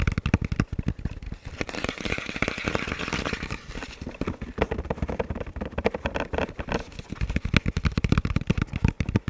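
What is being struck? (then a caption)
Composite helmet shell. Fingertips and nails tap and scratch the sides of a hollow, dark camo composite ballistic helmet with a velcro strip. Dense runs of quick, dry, hollow taps land with a low body. A stretch of brighter scratching runs through the middle.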